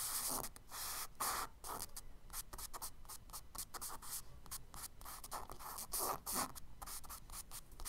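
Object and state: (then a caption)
Charcoal strokes on kraft paper. A charcoal stick scratches quick, small branch strokes onto the solid surface of a tan kraft paper page in a spiral sketchbook. The result is a run of short, dry, gritty scratches with a bright, hissy edge, coming in rapid irregular bursts with brief pauses between them.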